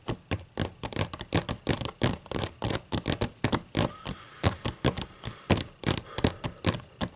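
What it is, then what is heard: Paper book pages. Long matte acrylic nails tap and scratch across both open white paper pages of a thick book. About 30 quick, dry taps land in an uneven rhythm, each a short papery thud with a bright click on top, mixed with softer scratchy brushing strokes between them.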